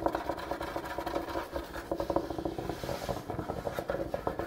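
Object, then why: Wooden kitchen countertop. A large solid wooden kitchen countertop is scratched and tapped with the fingertips and nails of both hands, which stay on the same surface throughout. Quick, dry tapping and scraping sounds follow one another steadily, with a mid-range woody tone and very short decay.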